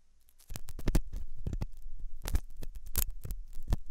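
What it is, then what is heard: Silicone ear model scraped with a metal tool. A hooked metal dental tool scratches inside the ear canal of a white translucent silicone ear model made of soft solid rubber, likely mounted on a binaural ear microphone. After a brief quiet start, a rapid run of dull, muffled scrapes and thumps follows, heavy in deep low rumble with almost no bright edge.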